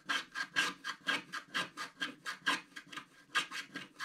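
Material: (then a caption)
Wax coating. A wooden stylus scratches the roof area of a black, wax-coated scratch art sheet lying flat. About seventeen short, quick strokes make a dry, bright scraping rasp with almost no low end, each stroke stopping sharply.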